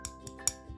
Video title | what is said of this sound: Mini Haul - Mickey Main Attraction 3 | it's a good heavy key it's metal